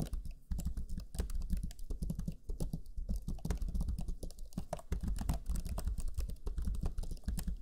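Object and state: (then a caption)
Plastic laptop keyboard being typed on. Fingertips of both hands type rapidly on the black chiclet keyboard of a Lenovo Legion 5 laptop, pressing its low-profile plastic keys. A dense, steady stream of short, soft taps and clicks is heard, with a muted, low-heavy thud and very little ring after each press.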